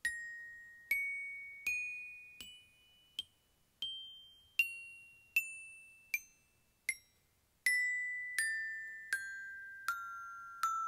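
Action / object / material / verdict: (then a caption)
strike / aluminium glockenspiel bars struck with a wooden mallet / aluminium / none. Aluminium bars of a metal glockenspiel are struck one at a time with a black-headed wooden mallet, giving 15 bright, ringing notes at a steady pace. The pitch climbs over the first several bars, then steps back down. Each tone decays quickly, some cut short and others ringing into the next strike.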